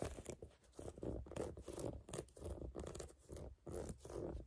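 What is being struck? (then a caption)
Rubber sneaker outsole. Fingertips and nails scratch the ridged tread of a brown rubber sneaker outsole held up close, making a steady run of dry, rasping scrapes. The strokes come in short bursts with brief pauses, full and low-mid in tone and quiet overall.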